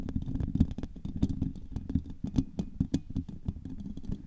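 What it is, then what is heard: Metal mesh microphone grille. Long nails tap and scratch across the hollow woven steel mesh grille on top of a silver microphone. A rapid, uneven stream of dry, close taps with a scratchy rustle between them sounds heavy and thumpy in the low end, each tap dying out almost instantly.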